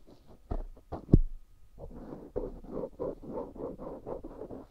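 A black cotton swab scratches inside the canal and lower bowl of a life-size white silicone ear microphone, solid and soft rubbery. Muffled, low scraping and rubbing comes through, with a few sharp thumps early on and then a steady run of soft rhythmic strokes.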